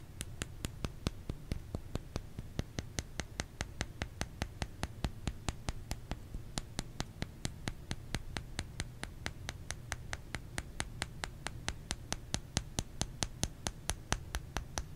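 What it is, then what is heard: Bar of soap. A solid white oval bar of soap, held in one hand, has its flat face tapped with the fingernails of the other hand. There are 66 quick, sharp, dry clicks at an uneven, steady pace of about two per second, over a constant low background rumble.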